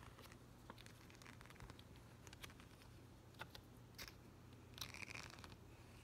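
A thin, flat yellow plastic rhinestone gem sticker sheet is held in one hand while the fingertips and nails of the other hand rub and tap across the gems. Quiet, crinkly scratching is punctuated by short, sharp clicks, over a steady low hum.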